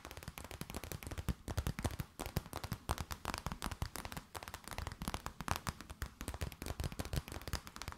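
An empty transparent plastic bag is tapped and crinkled with long nails, producing a dense run of sharp, quick crackling taps. The sound snaps like small firecrackers, with most of its weight low but with bright crisp edges, and the taps run on steadily without pause.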